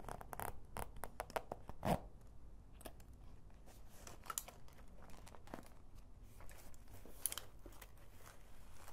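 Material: Faux leather.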